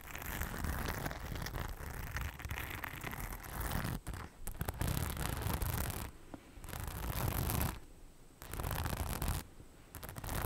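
Long nails scratch across the rhinestone-covered front panel of a hollow beige faux leather bag. The result is a dense, gritty scratching with a strong low rumble, in long bursts broken by brief quieter pauses.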